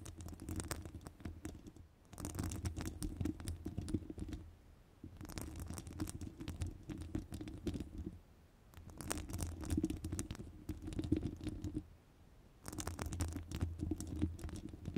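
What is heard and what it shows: Long nails rapidly scratch the sides of a hollow metal wire-mesh microphone grille. The result is a dense, muffled, low-heavy scratching and rustling with a faint hum near 300 Hz. It comes in bursts of a few seconds each, separated by brief pauses.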